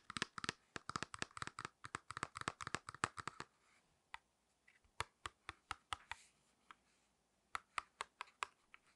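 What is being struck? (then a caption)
Small flat cardboard package with plastic blister. A small, flat false eyelash package made of cardboard with a plastic blister is tapped with long nails, giving quick, dry, typing-like clicks. The taps come in a dense run for the first three and a half seconds, then thin out into sparser clicks with short pauses. Each click is bright with a mid-range body and dies away almost instantly.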